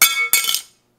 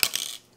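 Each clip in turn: First: dropped titanium credit card. Second: dropped metal credit card.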